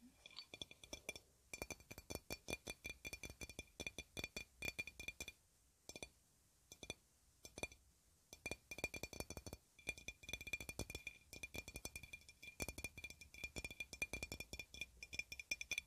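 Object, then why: Glass swing-top bottle. An empty clear glass swing-top bottle, decorated with yellow flowers and a paper tag, is tapped with long red nails. The result is rapid, bright, clicky taps with a faint glassy ring near 2.4 kHz that dies away almost at once. The taps come in dense bursts, with brief pauses around the middle.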